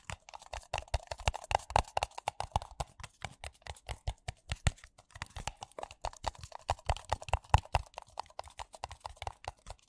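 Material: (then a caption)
Paper. Fingertips and nails tap rapidly on two identical empty white paper coffee cups with a printed logo, hollow and thin-walled. The quick, irregular run of dry taps carries a soft low thump and a hollow papery tone in the mid range, each tap dying away almost instantly.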